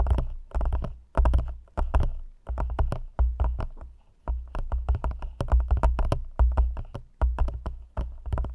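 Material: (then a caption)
Plastic. Long nails tap quickly on the walls of an empty, hollow, thin clear plastic cup held over the microphone. The taps come in fast, clicky bursts with a deep, booming hollow thump underneath. Each burst swells and then fades quickly.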